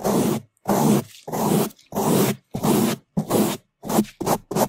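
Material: Foam.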